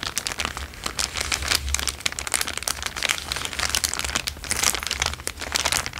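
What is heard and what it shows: An empty, thin, transparent plastic bag is held in both hands and crinkled with the fingertips. The result is a dense, continuous run of bright, crackling crinkles that swell and ease over the six seconds, with a faint low hum underneath.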